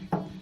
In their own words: the best way to check it is to go ahead and to tap on the tank and you can hear a difference